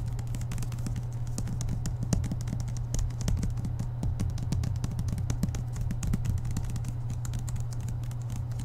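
Fingertips and nails tap and lightly scratch the glossy card cover of a thick paperback lying flat on a table, the hand held close to the microphone. Dense, rapid, soft clicks and short scratches run over a steady low hum, dull and close rather than ringing.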